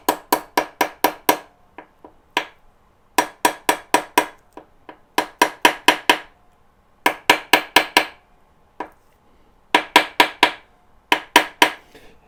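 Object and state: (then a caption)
Steel bearing race fully seated in its housing. An old bearing race is used as a drift and tapped with a hammer to drive a new steel bearing race into a motorcycle steering head. About 30 sharp, bright metallic taps come in quick bursts of four to six, each ringing briefly around 1 kHz. The taps shift toward a more solid clank once the race is fully seated.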